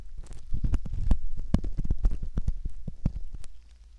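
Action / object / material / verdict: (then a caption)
scrape / silicone ear model scraped with a metal ear pick / silicone / none. A metal ear pick scrapes in the canal opening of a soft silicone ear model, giving a close, muffled run of deep, low scratching and rustling with many short clicks and ticks. The scraping holds steady for about three and a half seconds, then fades to quiet.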